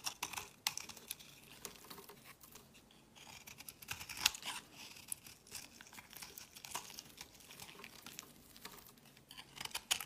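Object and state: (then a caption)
Bar of soap being shaved. A solid pink bar of soap held in the hand is shaved and carved with a utility knife blade, with flakes falling onto a woven mat. Quiet, crisp scrapes and short cutting crackles come in quick, uneven bursts, with bright, dry bite and almost no low end.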